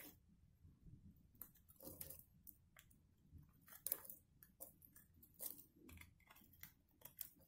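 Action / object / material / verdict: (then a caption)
scrape / dry soap bar / soap / none. A box-cutter blade shaves along the top edge of a solid black and white striped dried soap bar held in one hand. Quiet, irregular scrapes and crisp, bright crunches come in short bursts over a faint low rumble, each stopping dead with no ring.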